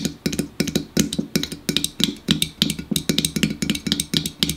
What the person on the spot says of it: Fast tapping on a pop can